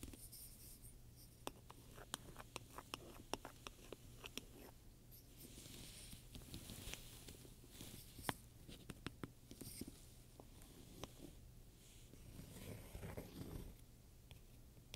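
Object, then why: Leather handbag with metal studs. A black pebbled-leather handbag with round metal studs lies flat, soft and hollow, while a wooden pointer scratches and taps on the leather between the studs. Quiet, dry scraping runs throughout, broken by sharp, short taps, over a steady low hum.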